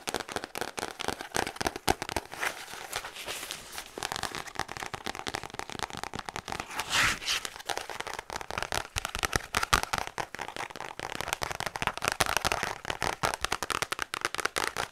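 Long white and black-patterned acrylic nails rapidly tap and scratch the brown kraft cardboard back of a thick cardboard-backed paper notepad held in both hands. The result is a dense, dry crackle of quick, sharp clicks with little low end and a bright papery hiss, broken around the middle by a short, smoother scratching swell.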